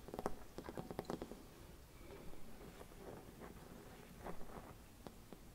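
A hollow, gold-silvered mercury glass Christmas bauble with a cap is tapped and scratched by long red nails. A quick run of soft, clicky taps with a faint glassy ring around the middle comes first, followed by quieter scratching and a few scattered taps. The sound is dull and close, with most of its weight in the low range.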